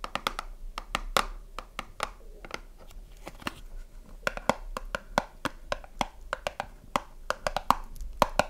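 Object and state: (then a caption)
Cardboard soap box. A small closed cardboard soap box is held and turned in the hands while fingertips and long nails tap its front and side. Dozens of short, dry, hollow taps with a mid-pitched knock come in quick irregular bursts, some soft and some sharper and brighter, with a faint papery rustle between them.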